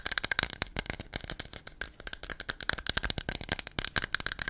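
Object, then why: Aluminum aerosol can with a mixing ball inside. A hollow white aluminum aerosol can with a blue cap and a silver metal base is held in both hands and shaken close to the microphone, knocking the mixing ball inside against its walls. It produces a fast, steady run of short, dry, bright clicks that rattle for several seconds, each dying away almost instantly, with very little low end.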